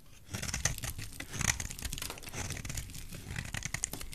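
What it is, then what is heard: Soap bar being shaved. A solid oval green soap bar held in the hand is shaved into curls with a utility knife blade. The result is a steady stream of dry scraping and cutting, with crisp, crackly bursts that sound bright and papery over a soft low rumble.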